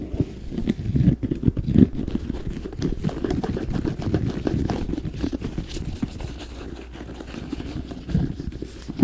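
An empty red, black and white leather and rubber high-top sneaker is held close and tapped and scratched on its upper and sole with fingertips and nails. The sound is a steady stream of quick, dull, hollow taps and soft scrapes, mostly low and muffled with little brightness, with a few louder knocks standing out.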